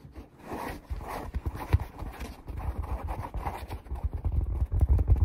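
Fingertips and nails scratch and tap the surface of a flat, palm-sized black perforated foam hair twist sponge with round holes, held in both hands. The result is a rapid, uneven run of soft, dull, low thumps mixed with muffled scratching, with each tap dying away almost at once.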